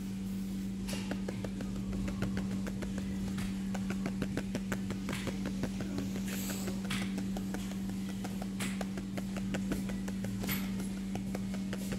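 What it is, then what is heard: Magazine being tapped. A paper magazine is tapped over and over, producing a fast run of soft, papery taps. A steady low hum runs underneath throughout.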